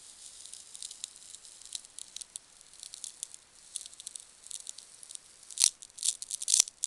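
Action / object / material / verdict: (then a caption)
scrape / polystyrene foam packing peanut / polystyrene foam / none. One small, solid, pale-green polystyrene foam packing peanut is held above a box and pinched, squeezed and rubbed between fingertips and long nails. It makes a quiet, irregular squeaky rubbing and crackling sound that sits entirely in the high, bright range with no low end. The sound grows into sharper, louder squeaks toward the end.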